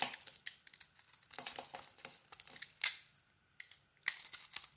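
A small metal blade peels and scrapes the purple glitter coating off a solid, palm-sized bar of soap with a cream core, held in the hand. Dry, bright crackling and crinkling scrapes come in quick, irregular bursts with almost no low end. They pause briefly near the end before a final flurry of sharper scrapes.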